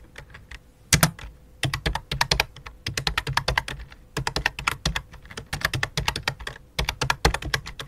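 Fingertips with long dark nails, on both hands, type rapidly on a full-size white and light-blue plastic computer keyboard resting on black cloth. The sound is a dense run of short, clicky key taps with a low thump under each press and a bright top, each dying away almost instantly. The taps come in quick bursts with brief pauses between them.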